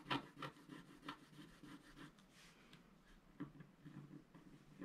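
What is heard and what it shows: A wooden stylus scrapes plant details into a flat black coated scratch art paper sheet lying on a white table. Quiet, dry, irregular scratching strokes come in short bursts, with a few sharper scrapes standing out over a soft rasping texture.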